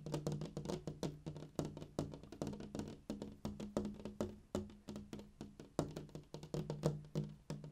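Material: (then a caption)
Glass. Fingertips and nails tap directly on the large flat glass pane of a window at dusk in a quick, steady, uneven stream. Each tap is short and dry, with a low hollow thud and a faint bright click that dies away almost at once.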